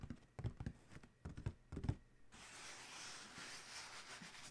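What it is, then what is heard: Cardboard shoe box. Fingertips from both hands tap a large, hollow black Adidas cardboard shoe box in quick clusters, producing soft, dull, low thumps that die away almost instantly. Partway through, the tapping gives way to a steady, bright scratching hiss across the lid that continues to the end.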